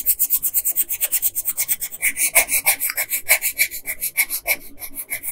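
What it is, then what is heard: Paper sheet rubbed with colored pencil. A yellow colored pencil, held in a hand with long nails, rubs across a flat printed paper coloring sheet in about thirty fast, rasping strokes. Each stroke is a bright, dry scratch, with a band around 2.3 kHz and almost no low end. The strokes come in a steady but slightly uneven rhythm.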